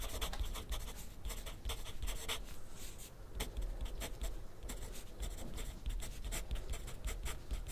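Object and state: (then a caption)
Pencil writing on paper on a clipboard. A graphite pencil scratches across a thin sheet of grid paper on a clipboard resting on a desk while writing. Quick, bright scratchy strokes come in steady bursts over a constant low rumble. The strokes stop and start throughout without pause in the writing rhythm.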